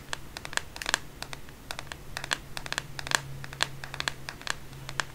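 Long painted fingernails tap and scratch the plastic back of a black smartphone held in one hand in bed. Many quick, bright clicks, each with a ringing tone near 1.7 kHz, fall over a soft scratchy hiss and a steady low hum.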